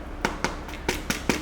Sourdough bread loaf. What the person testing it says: it sounds hollow so I think that's done